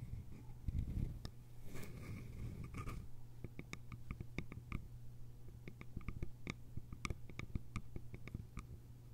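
Long acrylic nails tap and scratch the sides of a small, hollow, cylindrical bamboo container with a lid, resting on cloth. Quick, sharp, dry clicks with bright tops ring out over a steady low hum, and a brief rough scratching passage comes near the start.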